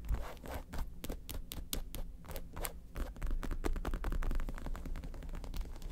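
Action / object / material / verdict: scrape / faux leather handbag with metal studs / faux leather / none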